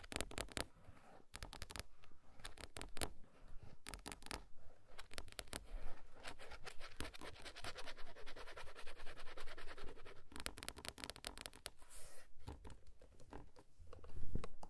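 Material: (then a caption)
Plastic. Fingertips and nails scratch and tap the hard plastic side shell of a large, hollow-shelled child car seat in a car's back seat, right where the warning sticker labels sit, with a handheld recorder held nearby but not touched. Dense, dry scratching runs throughout, broken by bursts of quick tapping. The sound swells toward the end.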